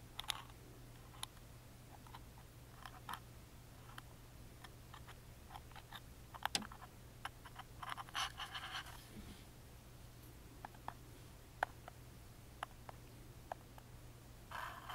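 A wooden toothpick scratches along the carved pattern on the engraved lid of a small, hollow plywood music box. The result is a quiet string of sharp, bright clicks and dry ticks, with short bursts of scratchy rasping near the middle and at the end, all over a steady low hum.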